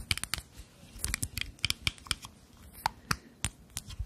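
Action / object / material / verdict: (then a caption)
tap / small glass cosmetic bottle with liquid / glass / none. A small rectangular glass cosmetic foundation bottle with a black cap, filled with beige liquid and held in both hands, is tapped and scratched with long natural nails. About a dozen sharp, bright clicks land in quick clusters, with faint scratching between them. Each tap is short and dry, with almost no ring.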